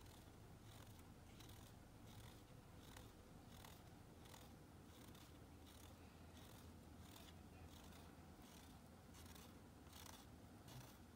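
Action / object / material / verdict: scrape / bar of soap / soap / none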